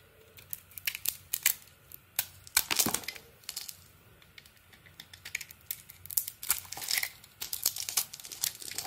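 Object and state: Bar of soap being scraped.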